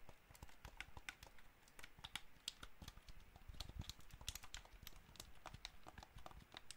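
Fingertips and nails tap and press the buttons and shell of a hollow white and black plastic PS5-style gamepad held in both hands. A rapid, uneven stream of dry clicks and taps comes through, each with a dull low knock and a bright plastic click that stops at once with no ring.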